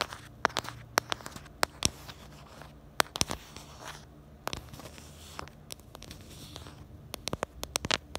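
Long nails scratch and tap on a pink plastic phone case, working over its star-decorated black bumper and the back of the case. Sharp, bright clicking taps ring out irregularly over a soft, crackly scratching texture, each tap stopping almost instantly.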